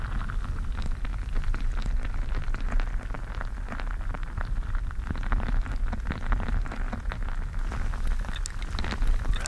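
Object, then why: Mesh stress ball filled with water gel beads. A clear-skinned mesh gel bead stress ball, full of colorful water gel beads, is squeezed with fingers against the microphone. The squeezing makes a steady, dense run of wet squishing and small crackling pops over a heavy low rumble, lasting the whole clip.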